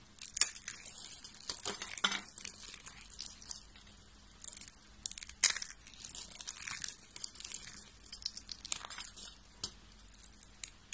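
A hand with long pink nails grabs a pile of thin light-blue dry soap shavings and crushes them in one grip. Dense, bright, crunchy crackling and crinkling runs throughout, with sharper bursts of crushing at intervals and little low-end weight.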